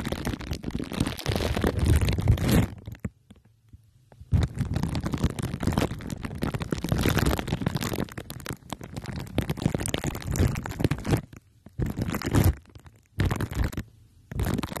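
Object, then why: Microphone wrapped in aluminium foil and plastic wrap, rubbed with glue sticks. The tips of two uncapped glue sticks rub and dab against a hand-sized microphone head wrapped in crumpled aluminium foil with clear plastic wrap taped over it, making a sticky sound. The result is dense, close, muffled crinkling and tacky scratching, heavy in the low end. It comes in long bursts broken by a few short silences.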